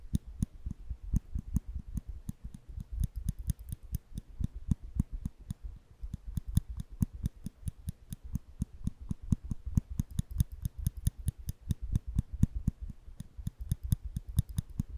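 A small solid steel nail clipper is held flat in the hand while the fingers squeeze its lever over and over, giving about 58 quick clicks across the clip. Each click is a short, dull snap with most of its weight low, near 105 Hz, and only a faint bright tick on top. It dies away almost instantly, so the clicks stay crisp and separate at a steady, slightly uneven pace.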